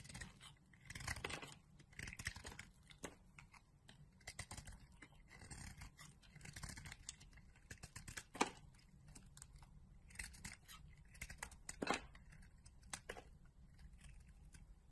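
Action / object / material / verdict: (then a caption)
scrape / bar of soap shaved with a metal blade / soap / none. The remaining piece of a solid orange soap bar, held in the fingers, is shaved with a metal utility-knife blade, giving quiet, crisp scraping and crackling with brief dry clicks as crumbly shavings break off. Louder sharp cuts stand out near 8.4 and 12 seconds over a soft, steady low rumble.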